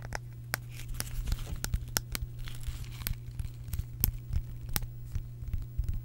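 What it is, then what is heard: Bamboo wooden case. A small, round, flat bamboo wooden case with visible grain is scratched and tapped with long acrylic nails. The sound is a run of sharp, dry clicks and brief scratching over a steady low hum, with each tap dying away almost instantly.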